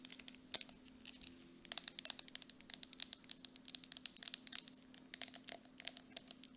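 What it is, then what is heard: Plastic cosmetic jar. Long acrylic nails tap and scratch quickly on the side and plastic bottom of a medium grey plastic Dead Sea mud mask jar with a screw lid that appears full. The result is dozens of sharp, bright clicks with almost no ring, mixed with scratchy scrapes over a faint steady low hum.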